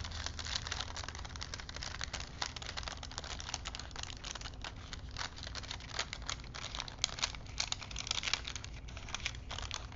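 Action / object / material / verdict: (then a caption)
scrape / thin paper strip on small wooden spools / paper / none. Fingers flex and roll a thin printed paper strip wound on small wooden spools, crinkling the paper. Dense, bright crackles and crinkles run continuously through the clip over a steady low rumble, at a soft, even level with short, sharp peaks.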